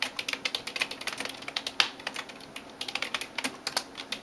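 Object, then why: Plastic computer keyboard. A hand types rapidly on a backlit plastic computer keyboard with fingertips and nails, giving about 23 sharp, bright clicks and taps with almost no low end. Each tap dies away almost instantly, and a faint steady high whine runs underneath.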